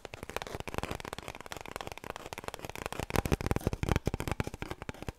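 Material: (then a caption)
Cardboard. Long nails scratch rapidly along an empty, hollow cardboard kitchen roll tube held horizontally. The result is a dense, irregular stream of dry, crackly scrapes and light taps with a low, hollow body to each stroke. It grows louder and sharper after about three seconds.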